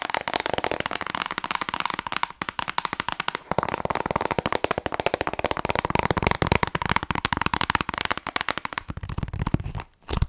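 Long nails rapidly tap and scratch the surface of a hollow plastic Nintendo Switch game case as it is turned between front and back. The result is a dense stream of sharp, dry clicks with a bright scratchy texture and a faint hollow tone around 945 Hz.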